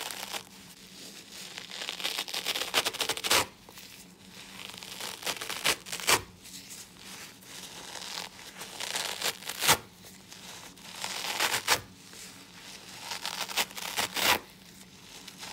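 Fingertips in purple and black nitrile gloves pinch and tear at the fibrous green nylon scour layer of a soapy yellow foam kitchen sponge, lifting suds. Bright, wet tearing and crinkling swells in repeated bursts, each ending in a sharp rip, with quieter fizzing between them.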